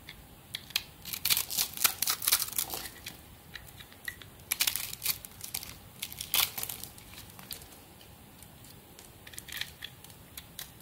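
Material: Soap.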